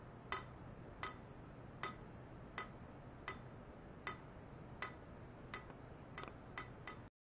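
A hollow stainless steel pipe resting on white foam net supports is tapped repeatedly with a thin hand-held metal rod, while an ultrasonic oscillator setup is wired to it. About a dozen sharp, bright metallic clinks with a ringing tone near 1.3 kHz decay quickly, coming closer together toward the end. A steady low hum sits underneath.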